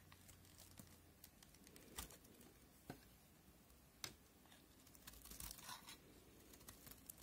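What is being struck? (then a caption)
Soap bar. A solid white soap bar from a set of NC, Linom and FAX white soaps is held in the fingers while a utility knife blade scrapes and cuts off crumbly layers. Soft, dry crinkling and tearing scrapes run throughout, with a few sharper, brighter cuts standing out and fading almost instantly. The sound is quiet and leans high, with a faint low rumble underneath.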